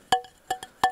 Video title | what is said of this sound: Stone Roof #3: Race to the Top | that's nice slate it rings pretty good